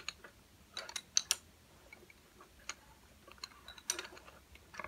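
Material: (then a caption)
Wood. Fingertips tap and drum on a row of slim, solid, painted wooden coloured pencils lying flat on a table. The result is a quick series of light, dry, bright clicks with almost no ring, some landing in tight clusters and others spaced out, all over a faint background hiss.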